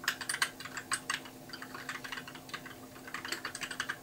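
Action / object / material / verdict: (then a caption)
tap / plastic mechanical keyboard / plastic / none. Fingertips type continuously on a compact white mechanical keyboard with plastic keycaps, producing quick, bright clicks and clacks in uneven bursts. Each keystroke cuts off almost instantly, with louder flurries at the start and end and softer typing in between, over a faint steady low hum.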